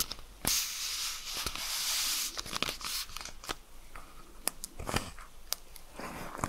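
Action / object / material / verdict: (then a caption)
tap / plastic pill bottle with screw cap / plastic / none. A hand-sized dark plastic Magnesium Citrate supplement bottle with a glossy label and black screw cap is tapped and scratched with long red acrylic nails, then its cap is gripped and twisted. A bright, sustained scratching hiss gives way to sharp, dry clicks and crisp taps scattered over quieter rustling. The sound is mostly high and brittle, with very little low end.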